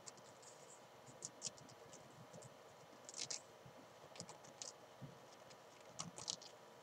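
Long painted nails scratch and rub the fabric of a small, hollow black and green padded nylon/polyester climbing chalk bag lying on a desk. The result is a quiet, bright, crinkly scratching over a faint steady hiss, broken by short, sharp clicky peaks that die away almost at once.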